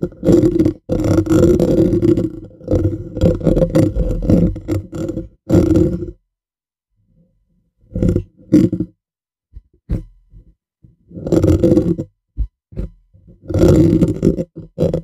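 The bare black metal mesh grille of a hollow condenser microphone is scratched and tapped with fingernails and fingertips. Close-up, it makes dense, gritty scraping and rustling bursts with a boomy, resonant low body. The scraping comes in long runs, separated by quieter gaps with a few isolated soft taps.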